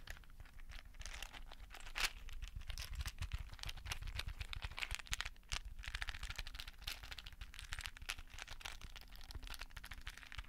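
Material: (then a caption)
Plastic. A small, hollow, rectangular clear plastic case filled with many small colorful beads is held in both hands close to the mic and tapped and shaken with fingertips and painted nails. Dense, crisp clicks and rattling bead sounds run steadily for the whole clip over a soft low rumble, with sharp, bright taps that die away almost instantly.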